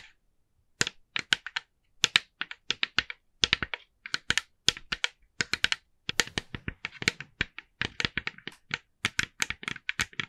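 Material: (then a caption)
Plastic. Long nails tap rapidly on the face of a hand-sized, hollow, glossy orange plastic jack-o'-lantern decoration. Bursts of sharp, dry, bright clicks come in quick runs with short pauses. Each click dies almost instantly, with little low end and a hollow plastic ring around 2.4 kHz.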